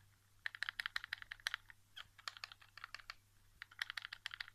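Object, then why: Plastic game controller shell. Fingertips and nails tap the back casing and grip of a white plastic PS4 controller lying face down on carpet, its hollow shell giving each tap a hollow plastic tone. About 27 quick, dry, bright clicks come in rapid bursts with short pauses between them, like fast typing. A faint low hum sits underneath.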